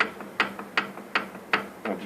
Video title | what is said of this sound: Фиат Палео 1.2 Двигатель троит. Глухой стук под нагрузкой. | жесткий стук металлом метал но он будет как бы немножко приглушенный потому что стать бьется по алюминию